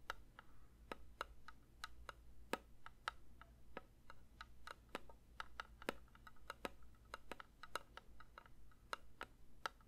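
A metal candle tin is lightly tapped with the fingers in a quick, uneven run of soft taps. Each tap is a short, dry metallic tick with a faint ring that dies away at once. The taps sit over a steady low hum.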